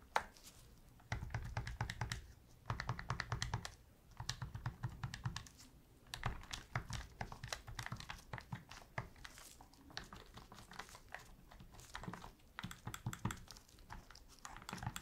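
A black, hand-sized, hollow plastic PS3 controller is held in blue-gloved hands while its buttons are pressed and tapped with gloved fingertips. Bursts of rapid, clicky taps come in clusters separated by brief pauses, each click short and dry with a low thump beneath.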